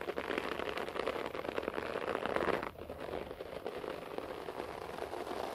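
Fingertips and nails, mostly of the right hand, scratch a beige short-pile floor carpet, making a dense, continuous crackling rasp centered in the midrange. The scratching is louder for the first two and a half seconds, then drops abruptly and continues more softly to the end.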